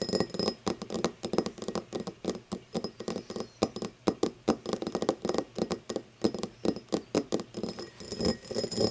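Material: Crystal glass.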